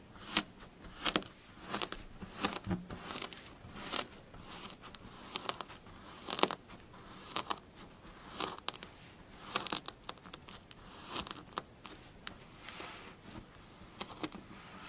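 Long blue acrylic nails and fingertips scratch and dig into a low, flattened mound of magenta kinetic sand (sand with a binding polymer) resting on a dark glossy table; the sand is solid and loose-textured. Repeated short, bright, crisp crunches and crackly scratches rise and fall with almost no low end and no ring as the surface crumbles.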